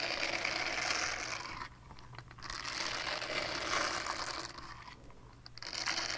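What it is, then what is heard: Silicone scrubber pad. A small, flat, solid purple silicone scrubber pad with a hanging loop is held up and scratched with long painted nails. The scratching makes a dense, bright, crackly rasp in two long bursts, with brief quieter gaps around 2 seconds and 5 seconds.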